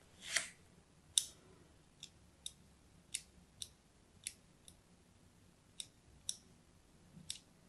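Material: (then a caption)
Soap. A thin blade scores a crosshatch pattern into a solid purple-and-white striped bar of soap held in the hand. It makes a series of short, crisp, bright clicks and scrapes at an uneven pace over a quiet background, the first stroke slightly longer and softer than the rest.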